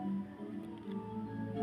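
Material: Nothing is struck.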